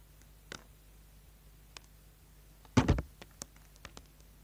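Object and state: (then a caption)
Bar of soap being scraped. A small, solid orange bar of soap held in the hand is scraped with a small metal tool, and the shavings fall onto a board. Short, dry scratching clicks sound against a quiet background, with a louder cluster of scrapes just before the three-second mark and lighter isolated scratches after it.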